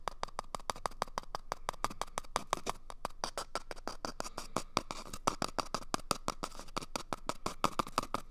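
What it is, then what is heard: Empty cardboard toilet paper tube. Fingertips rapidly scratch and tap on top of an empty, hollow cardboard toilet paper tube held at the right ear of the microphone. About fifty quick, dry taps ring out in a steady rhythm, each with a hollow, papery tone centered around 1.2 kHz that dies away almost instantly, with soft scratching between them.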